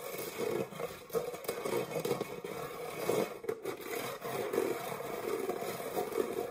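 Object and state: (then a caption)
Metal springform cake pan being scratched. Fingernails scratch the textured base of an empty, dark metal springform cake pan held upright. The result is a continuous, rasping scrape with a ringing metallic midrange tone, rising and falling in steady strokes.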